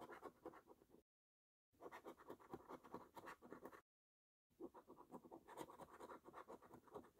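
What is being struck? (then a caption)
Paper lottery scratch card scraped with a metal coin. A metal coin edge scrapes the scratch-off coating from the lower rows of a flat paper lottery scratch card, with the other hand steadying the card. Quick, rough scratching strokes come in three bursts separated by two silent gaps, each stroke a dry mid-range rasp with a brighter top.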